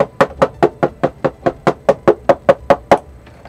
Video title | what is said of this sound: 8Bit Retro Keyboard Review and Sound Test Kailh Box White | got a bunch of hollow spaces in there